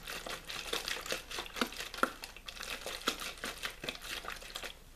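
Fingers squeeze and crinkle a small, hollow, clear plastic water bottle with a blue label that looks mostly empty. The result is a steady run of bright, crackling plastic crinkles with a few sharper pops standing out, and almost no low end.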